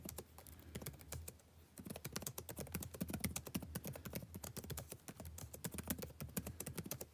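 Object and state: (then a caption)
Plastic laptop keyboard being typed on. Fingertips type rapidly on a backlit laptop keyboard with plastic keys, producing a steady stream of quick, dry taps with bright clicky tops. A low, steady hum sits underneath, and the typing grows slightly louder and denser after the first two seconds.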